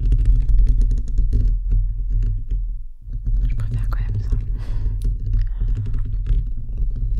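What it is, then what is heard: Metal microphone mesh grille being scratched. Fingertips and nails scratch the perforated metal mesh grille of a bare, hollow microphone head, using one or both hands. The result is a dense, irregular rasping rumble that is heavy in the low end, with bright scratchy flecks on top. The sound eases briefly near the three-second mark, then resumes.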